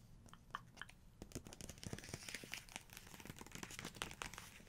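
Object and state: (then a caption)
Paper book page. Long nails tap, scratch and trace across the paper pages of an open photography book spread. Quiet, dry, crinkly scratching runs throughout, broken by sharp, bright little taps that die away almost at once.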